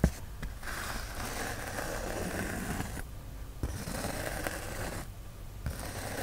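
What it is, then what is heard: Polyethylene foam sheet being scratched. Fingertips and nails scratch and rub the surface of a white polyethylene foam sheet, making a steady, dense scraping and rustling with a low rumble underneath. The rubbing pauses briefly twice, and a sharp tap-like click marks each restart.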